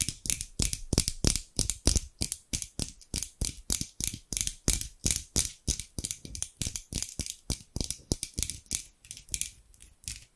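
Large steel scissors with dark handles, held in both hands with long pink nails, have their blades repeatedly opened and closed with a scraping, sliding action. About fifty quick, crisp metallic snips and scrapes come at a brisk, slightly uneven pace, each bright and hissy on top with a soft low thump underneath, dying away almost instantly.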